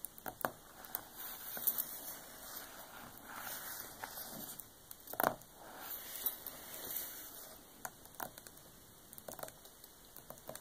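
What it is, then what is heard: Hardcover book with paper dust jacket, tapped and scratched. Both hands tap and scratch with long painted nails on a large, solid, closed hardcover art book lying flat, with a glossy paper dust jacket and a red paper band, while large rings on the fingers may add light clicks. Quiet, irregular taps and sharp clicks mix with soft, bright papery scratching and crinkling across the clip, each tap dying away almost instantly.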